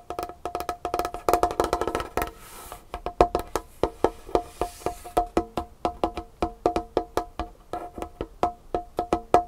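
Long painted fingernails of both hands tap rapidly on a large, solid, dark-stained wooden tabletop, giving crisp clicky knocks with a short woody ring. A dense flurry of quick taps at the start gives way to a soft brushing hiss, then steadier, evenly spaced taps continue to the end.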